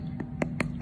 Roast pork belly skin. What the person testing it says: hollow sound that means you struck the jackpot